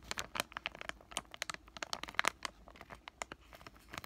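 Fingertips with short painted nails crinkle and squeeze a palm-sized white flexible plastic-laminate pouch of acne patches. A rapid, uneven series of sharp, bright crinkles and crackles stops dead between pops, with almost no low end.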